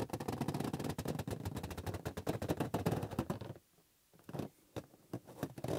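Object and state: Latex balloon rubbed and squeezed.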